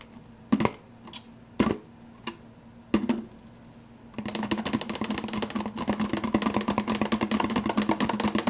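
Fingers tap on an empty soda cup, starting with a few separate, sharp taps with short resonant decays. Around four seconds in, they break into fast, continuous tapping, a dense string of bright, clicky hits over a steady low hum.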